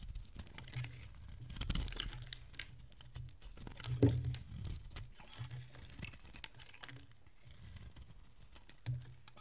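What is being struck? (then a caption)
Bar soap scraped with a metal blade. A solid oval bar of dry green soap held in the hand is carved and scraped with a metal utility blade, with shavings falling off. Soft, crumbly scrapes and crinkly cuts come in a quick, uneven run, with a few louder low thumps, the strongest just past the four-second mark. The clip is quiet and mostly low in tone, with brief, bright scratchy edges on the strokes.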